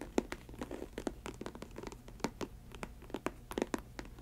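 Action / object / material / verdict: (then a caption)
scrape / synthetic leather ankle boot / synthetic leather / none. Long white acrylic nails scratch and tap the upper of an empty faux snakeskin Chelsea ankle boot made of snake-print synthetic leather. Quick, dry clicking taps with bright edges come at an irregular pace over a soft, continuous scratchy rustle. Each tap dies away almost instantly, over a faint low background hum.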